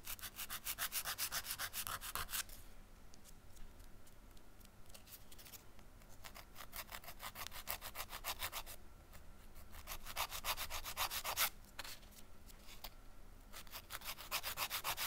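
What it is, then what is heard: Emery nail file on a nail. A long, flat emery nail file with a grit surface, held between both hands, is rubbed rapidly back and forth against a press-on nail. Bursts of bright, dry rasping strokes alternate with quieter, softer scratching stretches. The strokes come quick but unevenly, each one short with no ring.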